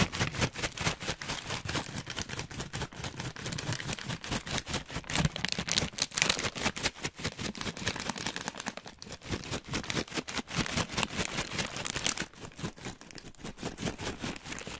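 An orange plastic/foil snack bag filled with nuts is held by its top edge and shaken beside the mic, making a dense, steady stream of bright crinkling and rattling bursts. The shaking eases off to a softer crinkle for the last few seconds.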